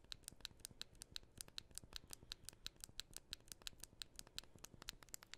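A fingernail scratches the back of a thin, solid gold, white and gold aluminum iPhone held in both hands. About 32 quick, crisp scratches come in a steady, rapid rhythm, each a short bright tick with a high, hissy edge and almost no ring. The taps sit over a quiet, faintly rough background.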